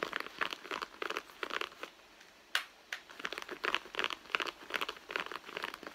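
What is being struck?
Soft leather handbag.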